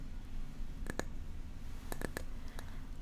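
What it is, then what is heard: Wooden parrot figurine. A small wooden parrot statue brought back from South America is tapped, giving short, dry clicking taps that stand out over a steady low background hum. The taps come in a loose pair and then a quicker cluster with a last one trailing off.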